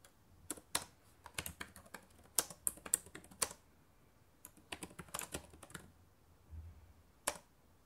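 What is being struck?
Plastic laptop keyboard.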